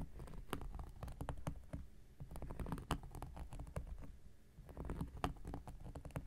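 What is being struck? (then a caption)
Cork coaster. The tip of an X-Acto knife blade scratches a round, flat, solid cork coaster. The result is a quiet, irregular patter of dry scratching strokes punctuated by sharp clicks, with very short decays. Most of the energy sits low in the spectrum, with little high-end brightness.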